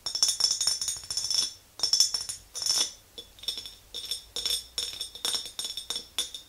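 Long green nails tap the sides and rim of an empty clear glass mason jar with a handle. Quick bursts of bright, high clinking taps come in clusters, each tap ringing only briefly.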